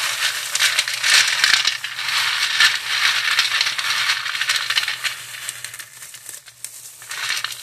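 Gloved hands in thin plastic gloves squeeze and crush a pile of expired, dry, crunchy fried chow mein noodle sticks, small, solid and orange, on a clear cut-glass tray. The result is dense, bright, dry crackling and crunching with little low end, possibly mixed with glove crinkle and noodle bits hitting the glass. The sound thins out and quiets over the last couple of seconds before a final burst of crunching.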